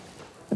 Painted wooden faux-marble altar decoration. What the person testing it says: On entend les matières, ça résonne d'une certaine façon.